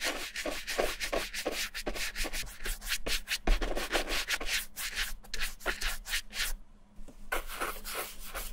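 A small round wooden-handled bristle brush rubs and scrubs cream into the dark leather toe of a hollow, empty Levi's vintage suede-and-leather ankle boot held in one hand, as the boot is cleaned and restored. Quick, steady back-and-forth strokes make a bright, scratchy bristle hiss over a soft low rumble. The brushing pauses briefly near the seventh second, then resumes.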